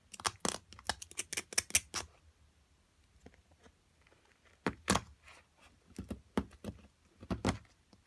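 A small metal carving pick chisels and scrapes a solid white plaster excavation block with purple-tinted areas, held with long nails, breaking fragments off. A rapid burst of sharp, bright scratching clicks opens the clip, then it turns quiet and faint before more crisp scrapes and chips return in bursts.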